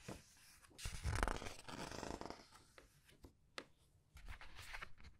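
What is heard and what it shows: Fingers with long nails press, squeeze and turn the glossy paper pages of a large art book. Soft crinkling, rustling swells rise and fade with a low rumble underneath, and a few brief sharp ticks stand out between them.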